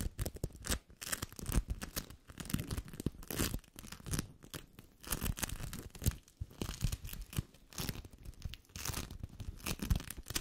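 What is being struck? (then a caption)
Sticky bead foam lump. A large, yellow lump of sticky bead foam is rubbed, squeezed and scratched with fingertips and nails. It makes close, continuous crackling and crunching with sticky, tearing-like bursts. The sound is heavy in the low end, with bright crackle streaks over it.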